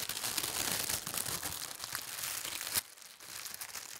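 A large, thin sheet of white tissue paper printed with gold stars lies spread flat while a palm and fingers with long red nails smooth and rub across it. Dense, bright crinkling and rustling fills the first part, ending in a sharp crackle near the three-quarter mark. After that a quieter, soft rustle continues.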